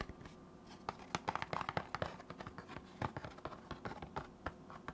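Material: Cardboard.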